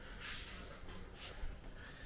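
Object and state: Nothing is struck.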